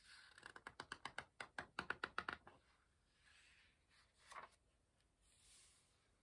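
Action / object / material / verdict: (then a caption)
flick / paperback book with paper pages / paper / none. Pages of an open paperback book are lifted and turned with the fingertips, making about 15 quick, crisp paper flips in a rapid burst over the first two and a half seconds. Softer papery rustles and one brief bright flick follow before a faint hiss ends the clip.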